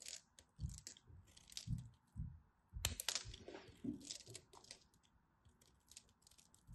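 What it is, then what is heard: Dry bar soap being cut and scraped. A craft knife cuts and scrapes at the edge of a thin remaining slab of dry purple-and-white striped bar soap. Quiet, crisp crunching and scraping strokes come in short bursts, each pairing a bright, hissy rasp with a soft low thud. There are brief pauses between them and almost no ring after each cut.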